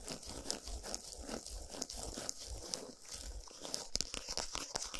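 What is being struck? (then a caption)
Cardboard chocolate bar box. Long nails scratch and tap the surface of a flat Lindt chocolate bar still in its printed cardboard packaging, lying on a towel. A quiet, dry scratching rustle runs throughout with bright, crinkly texture, punctuated by short, sharp taps that stop almost instantly, over a faint low rumble.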